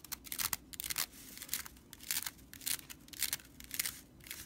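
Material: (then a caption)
Straw. Fingertips and nails scratch the stitched broomcorn straw body of a whisk broom, then a hand grips and rubs the bristles. Dry, bright scratching and rustling bursts come and go in an uneven rhythm, with crisp high crackle and almost no low end.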